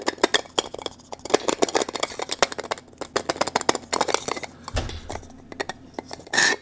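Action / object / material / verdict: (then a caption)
scrape / 3D-printed plastic cylinder puzzle / plastic / none. A blue 3D-printed plastic cylinder puzzle with embossed ridges and lettering is held in both hands while fingers rub and twist its segments. Many quick, dry clicks and rasping scrapes follow each other with no ring, and the clip ends in a brief, brighter burst of scraping.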